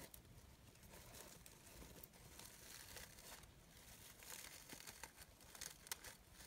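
Layered petals of a green, glitter-edged synthetic fabric rose brooch are squeezed and rustled with fingertips and long nails. The result is a steady, quiet, bright crinkling rustle, with a few sharper crackles near the end.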